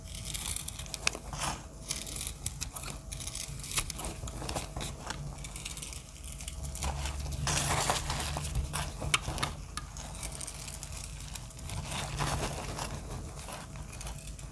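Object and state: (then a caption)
Dry pressed soap block being scraped. A snap-off utility blade scrapes and cuts a hand-sized, solid, speckled block of dry pressed soap, peeling off thin crunchy flakes onto the shavings lying below. The clip is a dense, irregular run of crisp crackling, crunching scrapes with bright edges over a steady low rumble. The strokes swell a little louder in the middle and again near the end.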